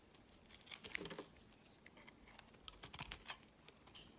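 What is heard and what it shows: A metal utility blade slices and scrapes thick shavings off the white exposed face of a solid oval soap bar. Quiet, bright, crisp scraping and crackling come in short bursts. Shavings peel away from the soap.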